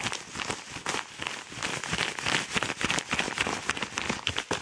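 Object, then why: Kraft paper padded mailer envelope. Very fast fingernail scratching and crumpling on a yellow kraft paper padded mailer envelope. It makes a dense stream of bright, crinkly, crackling scrapes that tick along rapidly and unevenly, each stopping dead with almost no lingering ring.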